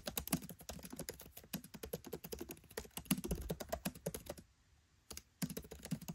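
Fingertips type rapidly on a MacBook Pro 13 keyboard with black plastic keycaps set in an aluminium body, producing dense, short clicky key taps with a low thunky body and bright clicks. The typing runs steadily, pauses into near silence for about a second, and then resumes after a single tap.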